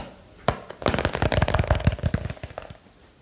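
A small box is tapped quickly with light, irregular taps for ASMR. The taps are short, dry, low knocks with a faint tone near 600 Hz, starting with one tap, then building into a dense flurry before trailing off into quiet.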